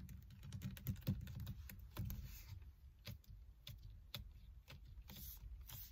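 Fingers with long red nails grip a solid car steering wheel rim wrapped in black leather or faux leather, producing quiet, low creaks. A rapid series of soft tapping and squeaking clicks sits over a dull low rumble, with faint bright edges on the sharper ones.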